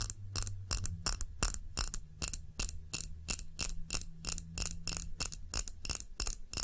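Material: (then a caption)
Glass. Long nails tap quickly on the sides of a clear glass tumbler filled with red candle wax, held in both hands. Each tap is a sharp, bright click with a very short ring, repeating at an uneven fast pace over a steady low hum.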